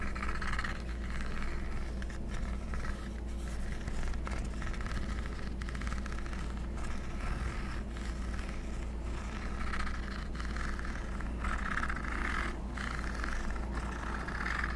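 Fingertips and nails scratch and tap along the top edge of a handheld black plastic Swingline desk stapler, its hollow body fitted with metal parts, held in the other hand. A steady run of dry scraping and light tapping with a bright, hollow plastic tone sits over a constant low hum.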